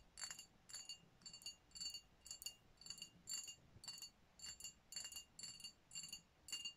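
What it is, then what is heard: Glass bottle tapped with fingernails. Long nails tap and scratch the body of a dark glass champagne bottle with a foil-wrapped neck, which appears full and sealed. Quiet clusters of quick, bright clinks and ticks with short high glassy rings repeat in loose bursts, with faint scratching between them.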